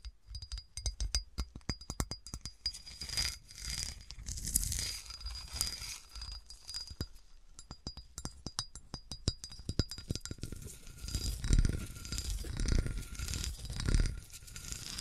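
A clear, hollow, dimpled melted and flattened glass bottle is held and tilted on a table while fingernails scratch and scrape along its textured surface. Rapid, uneven clicks and scratchy scrapes carry a bright glassy edge, with louder thumping bursts near the end.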